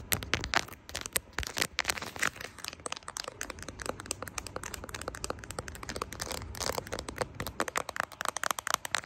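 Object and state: Plastic phone case tapped and scratched.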